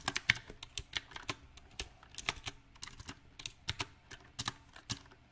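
Fingertips type in an uneven rhythm on a backlit compact mechanical keyboard with round typewriter-style plastic keycaps on a silver metal frame. About twenty sharp, bright clacks sound, each dying out almost instantly, with quiet gaps between bursts.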